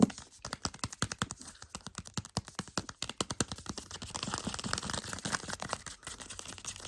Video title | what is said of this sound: ASMR tapping on books with blue on the cover 💙✨ | this one makes good sounds because the spine is so big